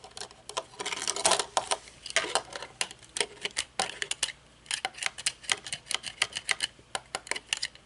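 Long nails tap on aviator sunglasses with a metal frame and dark tinted lenses, both against a table and while the glasses are held up. The result is a rapid, irregular run of sharp, bright clicks and ticks with almost no low end, with a few denser rattling bursts early on and a short pause partway through.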